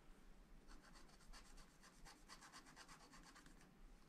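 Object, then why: Wax-coated paper scratch-art card. A pointed wooden stylus scratches the black coating off a thin, wax-coated paper sheet over a colourful city picture on a spiral-bound scratch-art pad lying flat on a table, while the other hand holds the pad. Quick, short repeated strokes make dry, papery scratching with bright, hissy rasps that start and stop in a steady rhythm over a low, quiet background.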